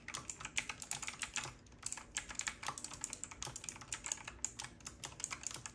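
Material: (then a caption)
Plastic. Both hands type continuously with their fingertips on a full-size, retro typewriter-style mechanical keyboard with round black plastic keycaps, a metal-looking frame and a side knob, lit from below. A rapid, uneven stream of short, bright clacks is heard, each dying away almost at once, with very little low end.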